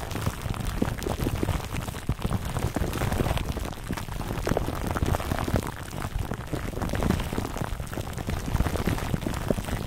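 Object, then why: Foam microphone cover wrapped in plastic film. A foam microphone cover wrapped in clear plastic film is cupped, squeezed and rubbed with both hands. The result is a dense, steady crinkling and crackling with a heavy low rumble, full of quick pops that sound much like rain pattering on a surface.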